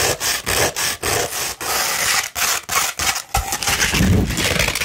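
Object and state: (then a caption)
Coarse sandpaper. Long red nails scratch a coarse 60-grit sandpaper sheet rolled into a tube, making rough, gritty rasping strokes with a bright, hissy texture. The strokes come in quick runs broken by brief pauses, then blend into a more continuous scrape with a deeper, rumbling edge near the end.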